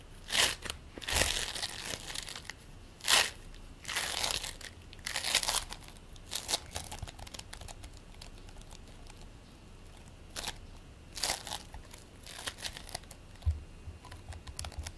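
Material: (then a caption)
Polystyrene beads. A solid, fist-sized ball of purple and green play foam, made of polystyrene bead modeling foam, is rolled and squeezed between the palms and fingertips, then set on a plate. It gives bursts of bright, crunchy crinkling and crackling, mostly high-pitched, separated by quiet pauses.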